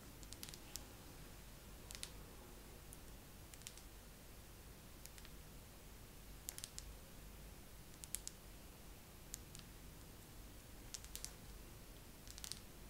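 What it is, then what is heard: Pillar candle. A wax pillar candle is tapped slowly with long nails, giving short, dry, bright clicks that die away almost at once. The taps come singly and in quick pairs at irregular gaps over a quiet, low background hum.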